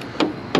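A spot on the steel body panel of a 1966 Ford Mustang coupe 289 is tapped during a magnet test, giving two short, dry knocks with a mid-low tone and very little ring. The sheet metal there is judged good.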